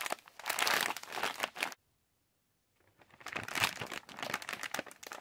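Fingers squeeze, scratch and crinkle a yellow Halls plastic pouch holding cough drops, making bright, crisp crackling. The crinkling runs for under two seconds, stops in near silence for about a second, then resumes and continues to the end.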